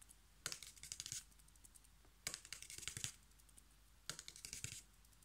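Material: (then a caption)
Cardboard. A flat, thin, light strip of brown corrugated cardboard, held in one or both hands, is tapped and scratched quickly by fingertips and short nails. Three bursts of rapid, dry, bright clicks and scrapes come through, each lasting under a second and separated by quiet pauses.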